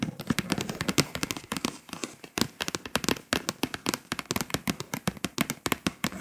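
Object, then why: Foil-coated paper scratch-off map. Long pointed acrylic nails tap and scratch quickly across the foil surface of a flat printed scratch-off world map poster (Europe) lying on a table. The foil-coated paper gives a dense run of short, dry, bright ticks and crackly scratches with almost no ring.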